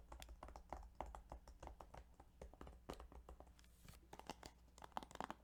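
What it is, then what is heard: Plastic game case. Quick, irregular tapping on the plastic game case of Yu-Gi-Oh! Duelist of the Roses produces a dense stream of short, dry clicks with a mid-range knock and almost no ring. A steady low hum runs underneath, and a few louder taps bunch together near the end.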